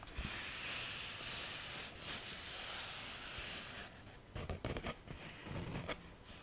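A large sheet of thin white paper is held curled in front of the microphone while fingertips and nails scratch and rub it. The first half is a steady bright, hissy scraping. It then turns into irregular crinkling and bending with sharper low thumps.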